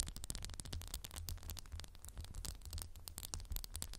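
A candle in a textured glass jar is tapped rapidly with the fingernails. The result is a quiet, steady stream of short, bright clicking ticks that die away almost instantly, over a low, constant hum.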